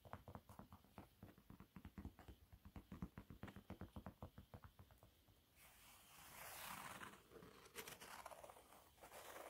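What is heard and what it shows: Fingertips and nails tap quickly and steadily across a yellow waffle-textured cleaning cloth lying flat, producing a run of soft, dull patters with some low body. After about five and a half seconds the tapping gives way to a continuous, brighter scratching across the bumpy surface, with a few sharper scrapes near the end, all at a quiet level.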